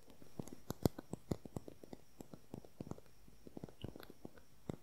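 A slim, hollow beige plastic concealer tube with its cap on, held horizontally, is tapped and scratched with long nails. The result is a quick, irregular run of soft, dry clicks and ticks with a low, hollow thump under them, plus faint scratching between the taps, in a quiet setting.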